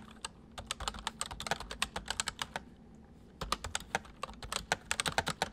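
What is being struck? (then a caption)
Plastic mechanical keyboard. Fingertips of both hands type on a white full-size plastic MSI mechanical keyboard with hollow keys. About 28 sharp, bright, hollow clacks come in quick bursts, with a brief pause near the middle before typing resumes. Each click is short with almost no ring.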